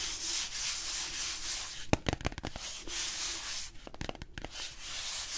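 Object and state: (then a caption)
Cardboard box being rubbed. A flat palm and fingers rub and brush across a small, hollow blue cardboard box held in one hand, in sanding-like strokes. A steady, bright, papery hiss rises and falls with each stroke. It is broken around the middle and again near the end by clusters of short, sharp taps and scrapes.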